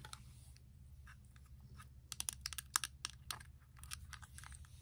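Long acrylic nails tap repeatedly on the surface of a small, flat Colourpop eyeshadow palette with a clear plastic case holding four pans of shadow, held in one hand. The result is a dense, irregular run of short, bright plastic clicks over a low, steady background hum.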